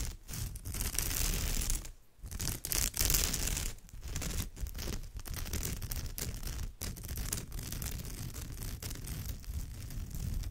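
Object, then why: Woven straw bag. Long nails on both hands scratch the textured woven surface of a straw or raffia purse, making a steady, dry rasping and crackling with a low rumble and bright scraping edges. The scratching runs almost without a break, dipping briefly near the two-second mark before continuing at an even level.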